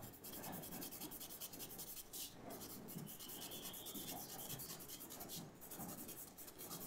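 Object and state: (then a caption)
Charcoal stick scratched on sketchbook paper. A thin charcoal stick is scratched across a white paper sketchbook resting on a table, drawing leaf details in short strokes. The result is a steady, soft, dry rasping with bright, high scratchy bursts that pulse with each stroke.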